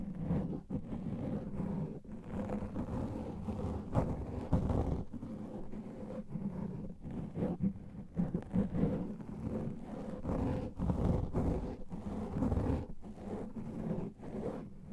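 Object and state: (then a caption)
Foam microphone windscreen being scratched. Fingertips and nails scratch and rub a black foam microphone windscreen. The result is a dense, muffled rumbling and rasping made up mostly of low-frequency energy, with almost nothing high or bright. The texture shifts steadily, with brief near-silent gaps between bursts of scratching.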